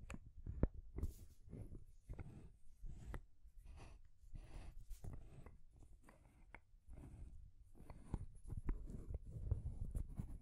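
Long grey nails tap and scratch along a small rainbow wooden stacking ring toy, its solid painted wooden rings and top ball. The sound is quiet, a steady run of soft, dull knocks with a deep, low weight, mixed with brief scratchy brushing and faint high hiss. Each tap dies away almost instantly.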